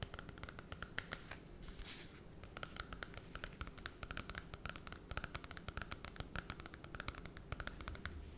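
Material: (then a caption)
Cardboard. Long red nails scratch the glossy holographic cardboard cover of a small Cinderella children's book and riffle along its edges. Rapid, dry tapping clicks run throughout, with a brief, bright scratchy swell near the two-second mark over a low, soft rustle.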